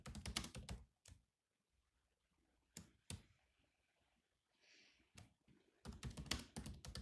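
Fingertips tap the black plastic keys of a grey laptop while typing, making quick, clicky taps with a low thump beneath each press. Dense bursts of keystrokes at the start and end frame a quieter middle, where single taps are broken up by pauses and a brief soft, high hiss.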